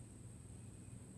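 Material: Nothing is struck.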